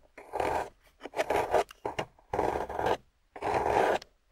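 A metal loop carving tool scrapes the surface of a solid, water-soaked grey clay block held in a long-nailed hand, shaving off crumbly bits. Several rough, rasping strokes are heard, each a dense scratchy burst centered in the midrange with a bright hiss above, separated by short silent pauses.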